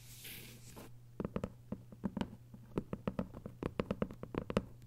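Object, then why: Hardcover book with paper dust jacket. Long acrylic nail tips tap quickly on the textured paper dust jacket of a closed, thick hardcover book lying flat. After a brief bright hiss at the start, a rapid, irregular series of short, dry clicky taps follows over a steady low hum.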